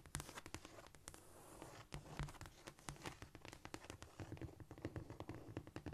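Long nails tap rapidly with both hands on a flat, solid cork floor. The result is a dense, uneven patter of quick, dry clicks with soft low thuds beneath. Each tap dies away almost at once, with faint scratchy brushing between them.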